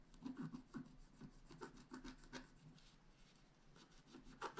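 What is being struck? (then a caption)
Wax-coated scratch art paper with wooden stylus. A wooden stylus scratches fine strokes into the mane area of a black wax-coated scratch art paper sheet held flat. The result is a series of quiet, dry, rasping scrapes with short bright bursts and no ringing.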